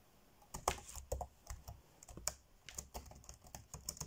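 Fingertips tap quickly on the dark grey plastic chiclet keys of an ASUS laptop keyboard while typing. The result is a rapid, uneven run of short, crisp clicks with bright tops and soft low thumps, each dying away almost at once.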